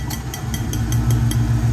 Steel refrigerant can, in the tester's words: you can also tap the bottle and hear a different sound